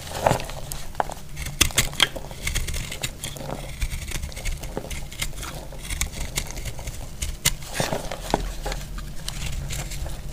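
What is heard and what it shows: A metal blade cuts through a solid, dry, blue-purple marbled piece of soap, producing a steady crackling scrape. Sharp, bright snaps and crumbly clicks break out irregularly over a soft low rumble, with each crack dying away almost instantly.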